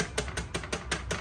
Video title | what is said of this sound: How to Hang Any Items on Wall Without Drill Holes/Sticky Tape Say Dewar Pay Koi Cheez Kaisy Fix Hoti | आवाज़ आ रही है ना, इसको बिल्कुल नहीं ये गिरेगी